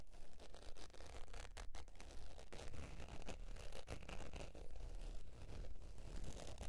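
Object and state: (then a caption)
Faux leather wallet being scratched. Long pointed nails scratch the surface of a beige textured faux leather zip wallet lying on fur. The result is a steady, dry scratching texture with rapid, uneven strokes at roughly two per second over a dull low rumble, with faint bright scraping edges.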